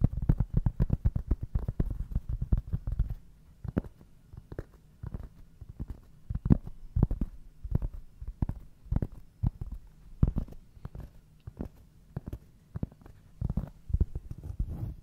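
Fingertips scratch and tap the coarse surface of a large, round, solid cork coaster held up close to the microphone. A dense flurry of dull, low thumps and scratches fills the first three seconds, then gives way to sparser, separate taps with brief rustles between them. The sound stays soft and muffled, with almost no ring.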